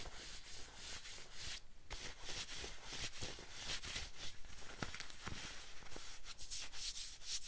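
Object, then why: Denim jacket fabric. Fingertips and nails scratch and rub across the fabric of a worn light-wash denim jacket. The result is a steady, bright, papery scratching texture over a soft low rustle, with brief sharper scrapes standing out now and then.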